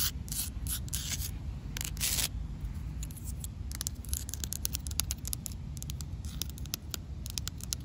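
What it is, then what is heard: Concrete ground. Long matte black acrylic nails tap and scratch a rough, solid grey outdoor concrete slab. The sound is a steady low rumble punctuated by quick, dry taps and bursts of bright, gritty scraping that stop short with no ring.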